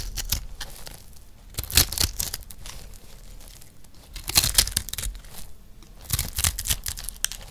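A rectangular, solid, multicolored block of dry recycled soap is held in one hand and scraped with a metal knife blade. Dry, bright crunching and crumbling scrapes come in short bursts, with louder clusters near the start, middle and end over quieter rustling.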